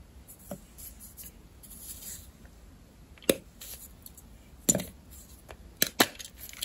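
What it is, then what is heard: Gym chalk block being snapped apart. A palm-sized, solid rectangular block of white gym chalk (magnesium carbonate) with a pink coating is snapped and broken apart with fingertips and long red-painted nails over a pink plastic mortar, exposing its crumbly white interior. Several sharp, dry cracks sound at irregular intervals, each a brief bright crackle with almost no ring, separated by faint crumbly rustling, and fragments may also hit the bowl.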